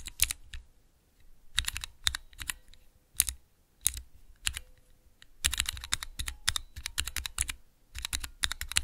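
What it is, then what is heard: Clear plastic key switch tester. Fingertips rapidly press the keys of a small clear plastic 3x3 Cherry MX key switch tester. Bright, dry plastic clicks come in quick bursts with short pauses between them, and each click stops almost instantly.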